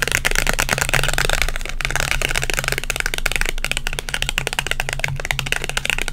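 A small, flat, textured green Polaroid instant photo of paper and plastic, with a white frame and a green image, is held in both hands and scratched and tapped with long white acrylic nails. A dense, steady stream of quick, bright, crackly taps and scratches continues throughout over a constant low hum.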